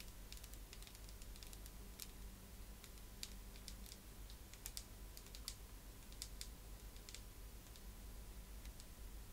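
Long manicured nails tap and scratch along the plastic vents of a black vented hairbrush with a hollow slotted back, held close. Quiet, sharp, bright clicks and scratches come in irregular bursts over a steady low hum.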